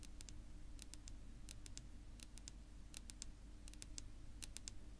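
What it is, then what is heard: Wooden tabletop tapped with fingernails. Long natural pink-polished fingernails of one hand tap and click on a flat, solid, dark wood-grain tabletop. Short, bright, dry clicks come in quick little clusters of two or three, over a steady low hum.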